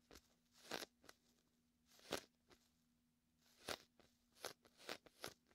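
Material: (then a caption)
Vinyl. A palm and fingertips press onto and peel off the sticky vinyl of a large, hollow, inflated red-and-white beach ball held close to the mic. The result is a series of short, irregular crackly, bright bursts over a faint steady low hum.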